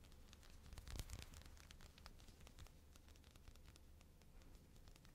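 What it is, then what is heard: Cotton fleece sweatshirt cuff being scratched. Long blue-painted fingernails scratch and rub the soft, thick cuff of a teal knit cotton fleece sweatshirt sleeve being worn. The result is quiet, dry scratching and rustling made of many brief, bright ticks over a low, muffled rumble. A louder flurry of scratches comes around the first second before it settles into steady, soft rubbing.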